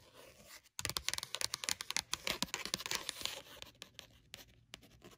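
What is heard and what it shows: Long matte nails scratch and tap quickly across the textured card cover of a small paperback notebook printed with cats, with a solid paper block, lying on a blanket. After a brief silent gap, a fast run of sharp, dry, bright taps and scratchy scrapes follows with almost no low end, easing off toward the end.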